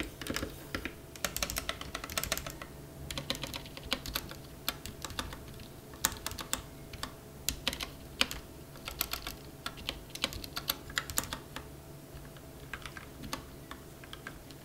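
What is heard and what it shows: A compact plastic mechanical keyboard, a Rakk ILIS or RK 71 with a white case and black plastic keycaps on a bare desk, is first pressed one key at a time with a single finger and then typed on with the fingertips of both hands. The result is a fast run of short, bright, clacky keystrokes with very little ring, over a faint steady hum.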